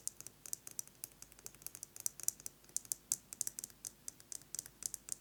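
A metal lipstick case is tapped rapidly with fingernails, producing about 28 quick, dry, bright clicks in an uneven, fast rhythm. Each tap is sharp and dies away instantly with no ring, and there is almost no low end beneath the steady faint background hiss.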